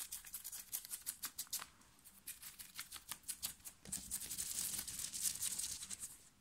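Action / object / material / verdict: scrape / cotton t-shirt / cotton / none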